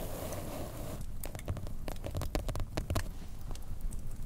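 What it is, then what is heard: Paper sketch pad page tapped with nails. Long fingernails of both hands tap the blank white page of a large spiral sketch pad, a solid paper stack lying on a table. A soft steady hiss fills the first second, then a quick, irregular run of light, dry taps follows, each a short click with a dull low thump and almost no ring.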